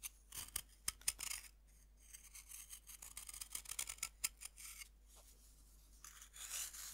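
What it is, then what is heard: Pressed-powder bath bomb being scraped. A metal knife scrapes the surface of a fist-sized, solid pink pressed-powder bath bomb held in the hand, and the powder falls onto a wooden board. Quiet, bright, crisp scratching and gritty rasping come in quick bursts with short pauses, and a soft sandy hiss trails off at the end.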